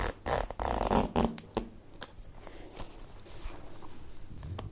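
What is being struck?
Plastic zippered pencil case.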